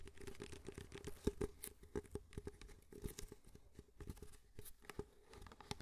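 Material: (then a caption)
Paper. Fingertips tap the sides of an empty white disposable paper cup held in both hands close to the mic, making a rapid, uneven run of soft, short hollow taps. Each tap carries a faint low-mid tone near 400 Hz and dies away almost instantly, with the whole sequence staying quiet.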